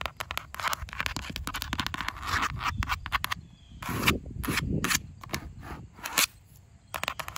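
Long acrylic nails tap and scratch the curved outer wall of a large grey plastic planter pot, hollow and filled with soil, standing on grass. Quick, dense, bright clicking taps give way to louder, broadband scratching bursts, each with a low hollow thump underneath and almost no ring.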